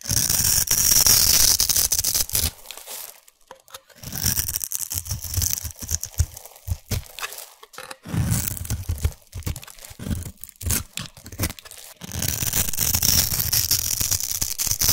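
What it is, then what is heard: Bar soap being shaved. A utility knife blade scrapes and shaves the edges of a solid, hand-sized pink bar of soap held in one hand, cutting it into fluffy shavings. Bright, crackly scraping comes in dense bursts with a low rumble underneath, broken by short near-silent pauses around the 3, 8 and 12 second marks.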